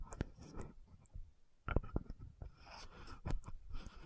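A hand-sized orange-red frosted plastic lotion bottle with a metallic gold cap is tapped and scratched by long nails. Sharp, dry clicks arrive at an uneven pace, separated by soft, low scratching and near-quiet gaps. Each tap dies away almost immediately.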